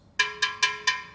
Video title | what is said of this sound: Art Forger Tries To Remake Four Masterpieces With Waldemar - Handmade In Bolton | you can listen it's not cracked